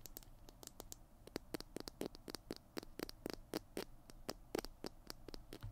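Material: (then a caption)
Plastic. Fingernails scratch and tap along the tube and cap of a small hollow plastic glue stick held in both hands. It makes a quiet, rapid, uneven series of dry scratchy clicks with a hollow plastic body and bright, crisp edges. Each sound stops instantly with no ring.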